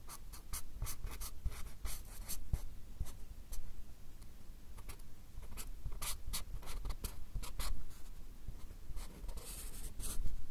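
A marker pen draws short, scratchy hatching strokes on a stack of small white paper cards held in the hand close to the microphones. Quick bursts of bright, dry scratching come in rapid groups over a steady low rumble, with a denser flurry of strokes near the end.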